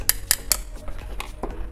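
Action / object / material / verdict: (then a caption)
knock / graphite spinning reel rotor / graphite / solid. Knocks on the thick graphite rotor of a T-Power spinning reel by Sabpolo give short, dry taps with a bright click and almost no ring. The solid, dense sound marks the rotor as genuine, thick graphite rather than a cheap imitation.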